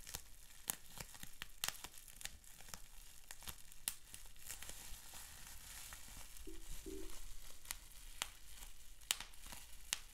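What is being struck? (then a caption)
Plastic bubble wrap sheet. Fingertips pinch, pop and crinkle a clear plastic bubble wrap sheet with small bubbles, giving sharp, bright pops scattered over a constant soft crackling rustle. Midway, a short low squeak appears twice as the plastic is rubbed, and the popping continues at a quiet level to the end.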